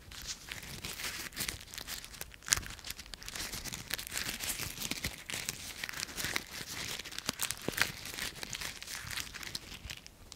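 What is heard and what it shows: Dry brown autumn leaves held in a hand are crushed in the fist, then a fragment is pinched between the fingertips. A steady stream of bright, dry crumpling and crunching crackles runs throughout, with a few sharper snaps standing out and almost no low end.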